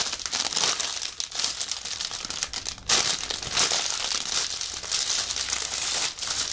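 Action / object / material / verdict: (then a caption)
tap / soft plastic bag around fabric / plastic / none. A large, soft, clear plastic bag wrapped around a white fabric-like prop lies on a table while fingertips press and pat it. Dense, bright crinkling and rustling runs through the clip in repeated bursts, with almost no low end. Brief dips near 1.2 and 2.9 seconds separate the bursts.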